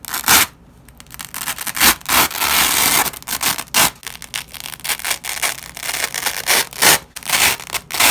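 Black-gloved hands peel apart a long nylon hook-and-loop fastener strip, yellow loop side from white hook side. The result is a run of bright, crackling ripping and tearing bursts that rise and fall, with one brief quiet pause near the start.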